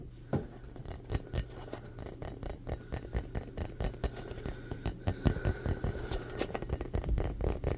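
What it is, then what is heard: Foam ball. Fingertips rapidly tap and scratch the surface of a palm-sized, solid, rainbow-colored soft foam ball. The result is a steady stream of soft, muffled low thuds mixed with faint scratchy rustling, each tap dying away almost instantly.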